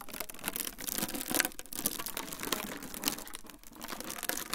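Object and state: Clear plastic wrap roll being crinkled.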